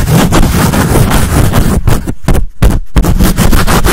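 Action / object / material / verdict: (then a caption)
scrape / foam microphone windscreen / foam / none. Long nails and fingertips rub and scratch a black soft foam windscreen fitted over a condenser mic head, in a scratch-and-rub motion rather than tapping. The result is a loud, dense, continuous scratching and rumbling, heavy in the lows, with brief quiet gaps just past the midpoint before the fast scratching resumes.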